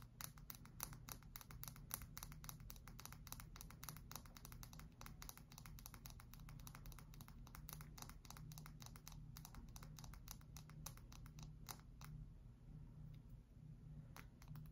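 A solid cream bar of soap, held in both hands, is tapped and scratched with long white-tipped acrylic nails. Rapid, crisp clicking taps and scratches continue throughout over a steady low hum, staying quiet and even in level.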